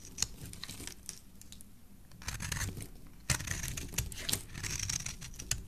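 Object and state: Soap bar scraped with a blade.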